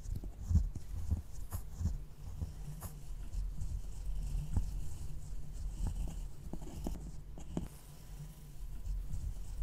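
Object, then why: Pressed powder eyeshadow in a plastic palette. A thin metal dental pick in a gloved hand scratches and crumbles the brown pan of solid pressed powder in a small rectangular black plastic eyeshadow palette with three pans (brown, peach, cream), then starts on the peach pan near the end. The sound is a soft, low, continuous scraping and crumbling, broken by brief sharp ticks as the pick digs in.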